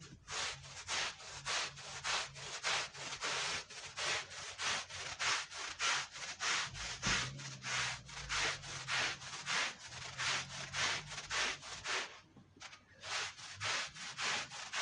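A long-handled stiff brush scrubs a wet, soapy red patterned wool Persian rug in steady, regular back-and-forth strokes. Each stroke gives a bright, hissing scrub, with a brief lull near the end before the scrubbing resumes.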